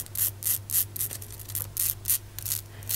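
Long striped acrylic nails scratch and tap the sloped, brick-textured faces of a small, solid, dark brown cast resin souvenir pyramid standing on a shelf among other pyramids. Repeated bright, hissy scratching strokes rise and fall over a steady low hum, each brief and dry.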